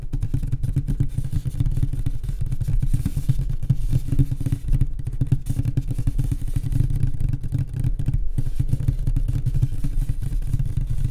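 Fingers tap rapidly on a wooden nightstand, producing a continuous stream of deep, dull knocks. The sound is low and boomy with a steady hum around 105 Hz and almost nothing bright. Each tap dies away almost instantly.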